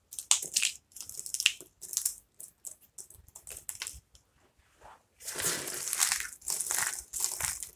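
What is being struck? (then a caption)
Pile of dry soap pieces. Both hands grab and squeeze fistfuls from a pile of broken, dry, brittle soap fragments on a wooden table, crushing them between the fingers. Bright, dry crunching and crackling comes in short irregular bursts, pauses briefly near the middle, then returns as denser, continuous grinding crunches.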